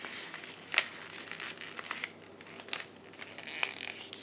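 A thin blue paper sheet is folded and crumpled by hands in black lace gloves, making dry, bright crinkling and rustling with sharp crackles. The sound is almost entirely high-pitched, with little low end and quick, dry snaps, the loudest near the start.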